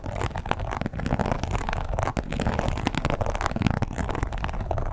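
Long pointed nails scratch across the textured surface of a red croc-embossed leather wallet lying flat. The result is a steady, dense run of dry, crackly scraping with small rapid ticks. It is weighted toward low, muffled tones, with brief pauses near one and two seconds.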